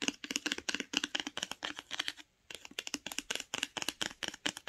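Long nails scratch and tap the tree-print spine of a paper-jacketed hardcover book while it is held, then tap its grey cover as it lies flat. About 29 quick, dry, bright clicks come in rapid clusters with a brief pause midway, each dying away almost instantly with little low end.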